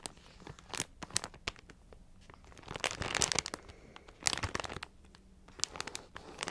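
A full plastic multipack bag of Ritz mini crackers is crinkled and tapped with long nails. Bright, high-pitched crackling and crinkling comes in bursts, with sharp, dry taps scattered between quieter rustling.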